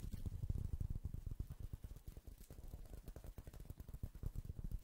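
A small, thin, solid round coaster of woven straw or rattan is held in one hand and scratched with fingertips and nails. The result is a quiet, steady run of rapid, dry scratching strokes with a soft, low, muffled texture and almost no bright edge.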